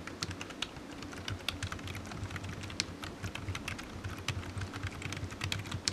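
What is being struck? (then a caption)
Plastic computer keyboard. Fingertips type steadily on a black plastic low-profile computer keyboard, producing a quick, continuous run of short, bright key taps. A low hum sits under the clicks throughout.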